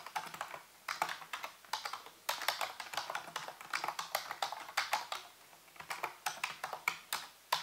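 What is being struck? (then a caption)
Plastic computer keyboard. Fingertips and nails type and tap on the keys of a full-size black plastic computer keyboard with a hollow housing. The result is rapid, irregular bursts of bright, crisp clicks that die away almost at once, separated by brief pauses, with no low-end thump.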